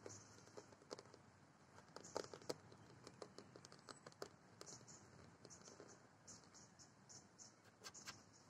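Long nails and fingertips tap and scratch fast on a large hollow orange moulded plastic playground dome with embossed lettering, standing on metal legs. Dozens of quick, dry clicks and scrapes sound over a steady, faint hiss, with a few sharper, louder taps standing out.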